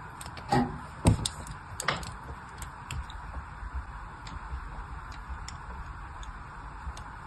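A thin blade scores crisscross grid lines into a solid, hand-sized pink soap bar held in a long-nailed hand. A few sharp, louder clicks come early, then quieter, uneven ticking and scratching continue over a low background hiss.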